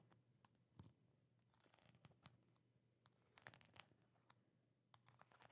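Long nails tap and scratch on the blue plastic lid and sides of a medium plastic jar full of peanut butter. Quiet, sharp, bright clicks and short taps come in irregular clusters over dry, scratchy rustling. A faint steady low hum sits underneath throughout.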